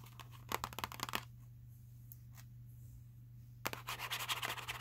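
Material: Cardboard.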